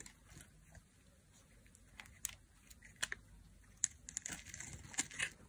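A solid, hand-sized dry bar of yellow striped soap, held in the fingers, is repeatedly cut with a thin black blade. Crisp, bright cracking and crunchy scraping snaps stand out over a quiet background as slices break away. Each crack is sharp and dry, dying away almost at once.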